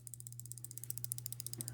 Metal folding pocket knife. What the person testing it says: another thing that I'm not liking is that there is a there's a jingle jingle